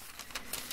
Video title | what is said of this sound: Retour de Courses ; Bavardage, Tapping & Frottements. #asmr | Attention, c'est pas un pot qui est vide, donc ça sonne pas beaucoup. Ça sonne pas beaucoup.